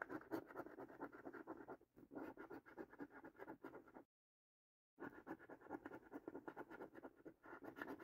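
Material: Cardboard.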